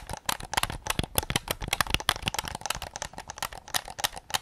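Fingertips tap rapidly on the rear shell of a white PS5 controller made of hollow plastic. The result is a quick, steady stream of short, dry clicks and knocks with a bright, clacky edge and almost no ring.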